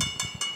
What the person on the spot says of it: Coin కొట్టినట్టయితే మనకు శబ్దం వస్తుంది మేడం. ఇక్కడ మనకు మెటల్ సౌండ్స్